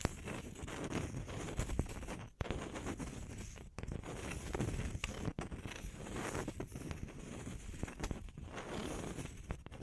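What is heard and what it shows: Long nails tap and scratch the cut faces of two small, solid round wood slices held flat on the palms. The result is a soft, continuous rustling scrape with dense, dry ticks, weighted toward low tones with faint bright hiss on top. Brief quiet gaps break it up before the scratching resumes.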